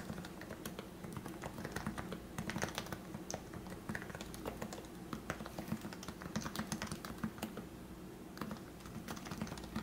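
Fingertips type on the keycaps of a plastic Leopold FC660C Topre keyboard with lubricated 45g switches. Quick, soft, thocky keystrokes click along in a steady, uneven rhythm, with a low, muted body and short, bright edges that die away almost instantly.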